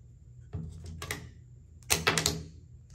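A new plastic Chase Ink Cash business credit card, not metal, is dropped as a drop test. It gives two short bursts of light, bright clicking and clattering as it lands, the second louder than the first, with very little ring after each tap.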